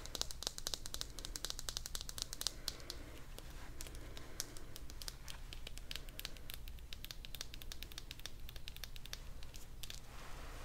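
A small teal hollow vinyl toy figure is tapped rapidly with long dark nails, making quick, clicky, typewriter-like hits with a bright, high edge. Each tap dies away almost instantly over a steady low hum.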